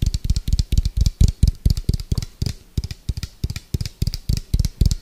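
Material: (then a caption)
Plastic. Fingertips and nails tap fast and irregularly on the side of an orange, hollow, round plastic food container with a white lid. Each tap gives a short, deep, hollow thump with a faint bright click on top. The taps come in quick clusters with brief pauses between them.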